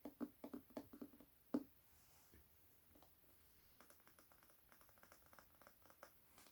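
An illustrated Hunger Games hardcover book with its dust jacket removed is tapped on its paper-covered board cover. A quick run of dull, hollow knocks with almost no ring opens the clip, then gives way to softer, lighter patter-like taps that continue unevenly to the end.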